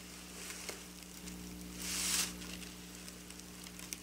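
Long black nails scratch along silver sequin fabric with both hands, making a bright, crinkly patter of small clicks over a low steady hum. Near the middle, a longer scraping swell rises and then fades back to scattered ticks.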